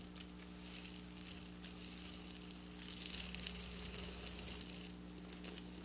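Long black nails scratch and pick at a flat silver sequin fabric lying on a table. The result is a quiet, continuous bright crinkling and rasping, with a steady low hum underneath throughout.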